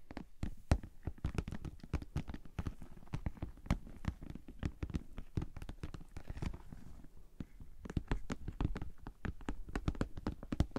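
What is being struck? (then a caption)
Vinyl cosmetic bag. Long painted nails tap and scratch across the top and sides of a medium-size, hollow, pink glossy PVC Ted Baker cosmetic bag with a bow, resting on a table. Rapid, uneven taps give soft, dull, low thumps that die away almost at once, with faint scratchy rubbing between them.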